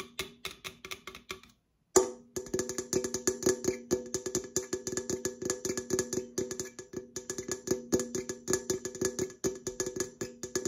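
Long acrylic nails tap rapidly on an opened, hollow red Coca-Cola aluminum can held sideways, striking both its side and the area near the opened top. The result is a fast stream of short, dry clicks with a hollow metallic ring around 375 Hz and bright high overtones, broken by a brief silence near the two-second mark.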